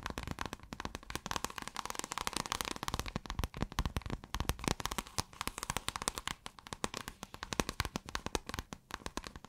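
Long acrylic nails scratch across a folded piece of pale blue scale-textured iridescent fabric. The result is a dense, rapid stream of short, dry crackling clicks and scrapes, with sharp bright ticks over a soft low rustle. It continues steadily without pause throughout.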